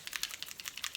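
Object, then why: Small cosmetic bottle of liquid foundation with a mixing ball. A small cosmetic bottle of liquid foundation drops is shaken before use, and the small mixing ball inside rattles in quick, dry, bright clicks. The rattle is normal for this bottle.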